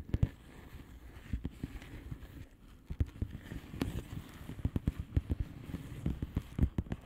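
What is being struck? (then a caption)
Plastic bubble wrap envelope. Long painted nails on both hands tap a flat blue plastic bubble wrap envelope with air-filled bubbles. The result is a steady, uneven run of quick, soft, dull taps, mostly low and muffled with no ring. A few sharper ticks stand out over a quiet background.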